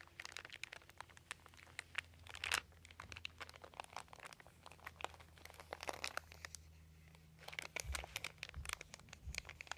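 A hand rubs and crinkles a crumpled, thin white embossed plastic sheet with raised dots, resting on carpet, using its fingertips. Dense, bright crackles and crinkles come in irregular bursts with short pauses, over a steady low hum.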